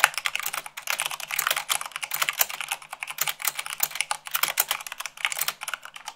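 Fingertips with long nails type rapidly on a white plastic mechanical keyboard at about 98 words per minute. The result is a steady, dense stream of short, dry, bright clicks and clacks with almost no low end.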